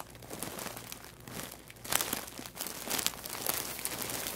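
A large white plastic poly mailer bag, full and stuffed, rests on a wooden table while spread fingers press and rub its surface. Dense, bright crinkling and crackling continues throughout, with louder bursts of crunching. The sound is mostly high and airy with very little low end.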